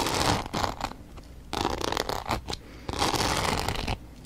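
A small rectangular box coated in multicolored glitter, with a pink cut-out window, is held in one hand and scratched and tapped with long dark nails. Rough, gritty scratching comes in three louder bursts separated by quieter, sparser stretches of light tapping and rustling.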